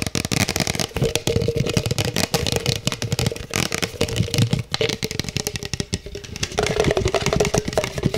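Fingertips rapidly tap and scratch the base and sides of an empty, hollow black plastic cup, held with its bottom facing forward. The result is a fast, dense stream of hollow knocks and dry scratchy clicks with a faint steady tone around 450 Hz, holding an even, busy level throughout.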